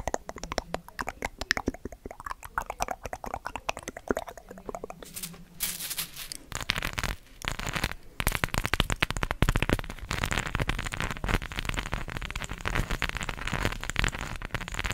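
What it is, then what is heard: Cork coaster covered with plastic googly eyes. A round, solid, palm-sized cork coaster covered with plastic googly eyes is held up and tapped and scratched over the eyes with long acrylic nails. Rapid, sharp clicking taps come first, then denser, louder rattling scratches with a low rumbling undertone fill the rest of the clip.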